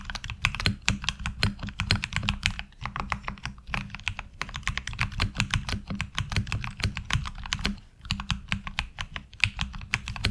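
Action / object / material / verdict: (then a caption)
tap / mechanical keyboard with plastic ABS keycaps / ABS plastic / none. Fingertips type on a HyperX Alloy Origins Core mechanical keyboard with ABS keycaps, heard up close from the side. Fast, crisp, bright key clicks come in dense runs with brief pauses near 2.7 and 7.8 seconds, over a steady low hum.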